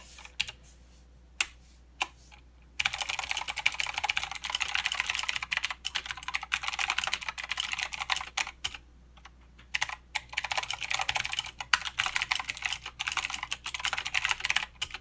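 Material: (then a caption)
Plastic. Fingertip typing with both hands on a mechanical keyboard with plastic keycaps and clicky blue switches. A few separate sharp clicks open the clip, then a dense run of bright, crisp clacking begins, pauses briefly midway, and picks back up at a steady, rapid pace. Each keystroke is short and dry, with almost no low end.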